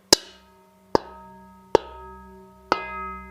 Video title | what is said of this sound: Profoto Live - Holiday Fun | have a beautiful ring to it if you hold the rubber part and knock it once